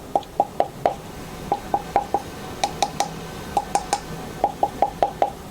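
Wooden ear cups of Hifiman HE-R10D headphones are knocked on to compare them with the HE-R9's thin plastic cups. Nineteen short, hollow wooden knocks with a clear tone around 700 Hz are heard in loose groups, each dying away almost instantly.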